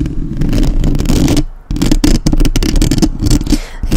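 Fingertips and long nails tap rapidly on the top of the metal mesh grille of a black, uncovered microphone. The taps land as dense, boomy low thuds layered with bright, clicky nail ticks and light scraping. The tapping drops into a brief lull about midway, then resumes at full strength.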